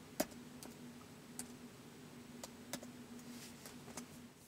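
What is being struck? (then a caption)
Plastic laptop keyboard keys. Fingertips tap the plastic keys of a white polycarbonate laptop keyboard in slow typing. Sparse, short, bright clicks land at uneven intervals over a steady low hum, with the first tap the loudest.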